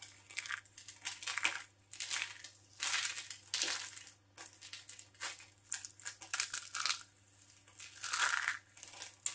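A hand-sized solid bar of dry soap carved as a skull and covered in orange soap strands is held in the hands while fingertips with long painted nails scratch, tear and crumble the strands and the soap edge. The result is a series of bright, dry crunching and crinkling bursts with soft gaps between them as shavings fall onto the table.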